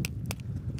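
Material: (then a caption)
Shell. Two oysters, kept in the fridge, are knocked together to check whether they are good to eat. Short, sharp, solid clicks with no hollow ring sit over a steady low rumble, showing the shells are tightly closed and the oysters are fine to eat.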